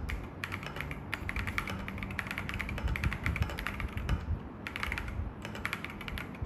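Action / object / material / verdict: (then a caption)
tap / mechanical keyboard with plastic keycaps / plastic / none. An assembled mechanical keyboard with grey, white and yellow plastic keycaps in a dark metal case, with a tablet behind it, is typed on with the fingertips of one hand during a typing test. Dense runs of quick, bright clicks sit over a low, steady rumble, with brief pauses around 1 and 4.3 seconds.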